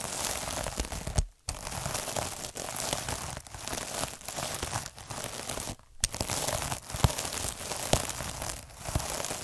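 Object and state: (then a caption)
Plastic mesh scrub sponge rolled with a needle roller. Fingers roll a derma roller with fine metal needles across a palm-sized, soft, puffy scrub pad covered in sparkly iridescent plastic mesh. The result is a continuous, dense, crackling scratch that is bright and crinkly over a low rumbling body, broken by brief near-silent pauses around 1.3 and 6 seconds.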